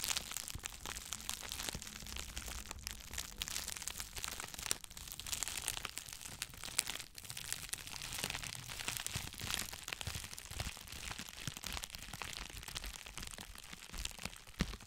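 Two hollow, hand-sized bundles of clear plastic bubble wrap are crinkled and squeezed by fingers close to the microphone. A dense, steady stream of bright crinkling and sharp little crackles runs throughout, with brief snaps standing out now and then.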